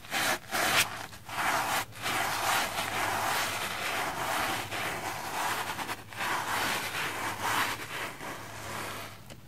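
A pink silicone face-cleansing brush scrubs a red, porous, soapy plastic foam sponge. It makes a steady, bright, wet scratching and rubbing sound, broken by a few brief pauses between strokes.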